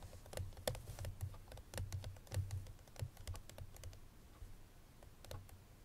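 Long nails tap on the front face of a hollow cream paperboard Chloé perfume box with the bottle inside. The result is a run of quick, irregular, soft clicks, each with a short, dull, hollow low thump and a bright tick. The taps grow quieter and sparser toward the end.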